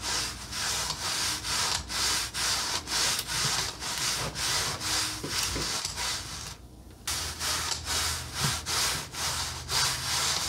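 A red painted wooden accordion peg rack is slowly expanded by hand, its slats sliding and rubbing against each other at the pivots. Bright, dry rubbing strokes repeat in a steady rhythm, with a brief quiet pause partway through before the rubbing resumes.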